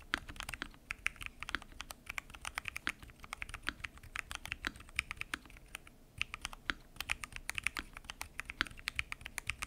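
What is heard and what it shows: Fingertips type continuously on a full-size mechanical keyboard with lubed switches, pink and mint PBT keycaps and a transparent acrylic case. A dense, steady stream of short, crisp, bright key clacks with very little low end, each tap dying away almost instantly.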